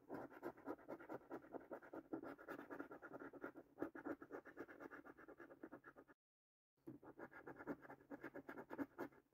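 A coin scratches the latex coating off rows of panels on a thin cardboard paper scratch card, making quick, dry rasping strokes in a steady rhythm. The scratching runs for about six seconds, stops for a brief silence, then resumes at the same pace until the end.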